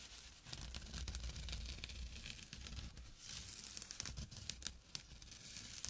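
A small, flat, empty jute burlap drawstring pouch lying on dark cloth is scratched with short fingernails and fingertips. The result is a steady, dry, bright rasping and crinkling texture with quick sharp scratches over a low, soft rumble.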